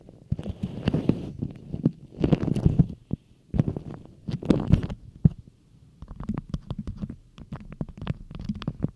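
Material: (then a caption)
Waxed cotton. A thin, stiff beeswax cotton food wrap with a bee and flower print, shaped into a hollow cone, is scrunched and rubbed by long acrylic nails and fingertips. Low, muffled crinkling and crackling comes in bursts of dense patter with short pauses between them.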